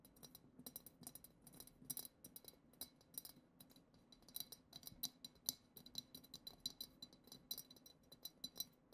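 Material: Glass.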